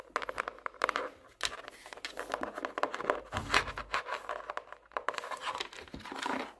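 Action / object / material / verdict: tap / hardcover notebook cover / cardboard / none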